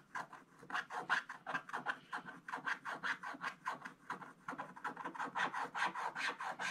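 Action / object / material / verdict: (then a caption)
scrape / black-coated scratch-art paper scraped with a wooden stylus / coated paper / none. A wooden stylus scratches the black coating of a flat scratch-art paper page in a scratch book, near the lower edge, while the other hand rests flat on the left page. Rapid, uneven back-and-forth strokes make a dry, raspy scraping with a bright papery hiss. Each short stroke fades almost at once.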